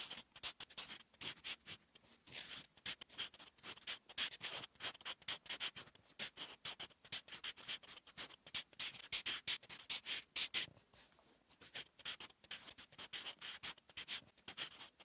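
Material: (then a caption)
Paper. A sharpened wooden 8B pencil, held in the fingers, writes on a flat sheet of lined drawing-paper notebook resting on a solid surface. Quick handwriting strokes make a steady run of short, dry, bright scratches with brief pauses between words. Almost no low end is present.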